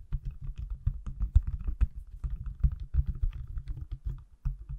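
A hand-sized, solid, pale green silicone/plastic case on an iPhone is held in the hands close to the mic and tapped and scratched with fingertips and nails. The result is a quick, uneven run of soft, dull, low thumps with very short decay, dotted with faint, brighter clicks and light scratchy ticks.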